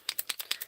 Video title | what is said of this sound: Hero Arts Kit Winter MMH Oct 2018 card | You can hear the ball rolling around inside there